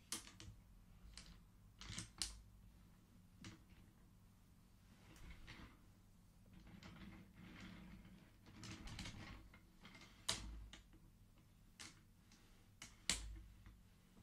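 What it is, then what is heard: Wooden abacus beads clacking. Fingertips push colored wooden beads along the metal rods of a wooden-frame abacus, and the beads clack together. Short, bright, dry clicks come at irregular intervals, with soft sliding rustles between them over a quiet, low background hum.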